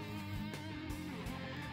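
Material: Nothing is struck.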